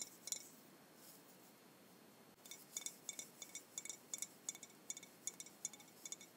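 A Jones soda glass bottle, hollow with blue liquid inside, is held in both hands and tapped and clinked with long white-painted nails. The result is a quiet series of short, bright, high glassy clicks. After a brief pause they come in a quick, irregular run, with barely any ring after each tap.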